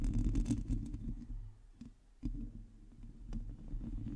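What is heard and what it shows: Long teal nails on both hands scratch a hollow metal mesh microphone grille, producing a dense, irregular rumbling scrape with a deep low boom and brief bright crackles. The scratching fades into a near-silent pause around two seconds, then resumes with a sudden thump.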